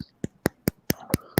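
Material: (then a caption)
Beard butter. A finger taps hard on a tin of firm beard butter, giving six short, dull, low thuds with a quick bright click on top and almost no ring. The tapping leaves no dent, showing the butter is hard and thick, though it softens and comes out easily once scraped and warmed in the hands.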